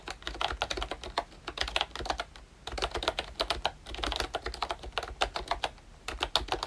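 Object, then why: Plastic membrane keyboard. Fingertips type continuously on a ROYCHE Disney Mickey Mouse retro keyboard, a pink and brown plastic membrane keyboard. A steady run of short, soft plastic key clicks with a bright edge and almost no ring is heard, in quick bursts broken by brief pauses.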